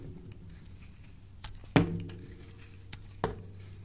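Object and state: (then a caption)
Bar of soap being shaved. A metal blade shaves curls off a solid rectangular yellow soap bar with embossed lettering, held in the hand. Soft, quiet scraping is broken by a few short, sharp cuts, the loudest near the middle and another toward the end. A steady low hum sits underneath.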